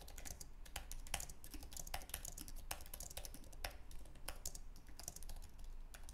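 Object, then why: Low-profile keyboard with aluminum base and plastic keys. Fingertips type rapidly on a white, low-profile Apple Magic Keyboard with an aluminum base and plastic keys. A fast, steady stream of light, bright, clicky key taps dies away almost instantly, over a faint low hum.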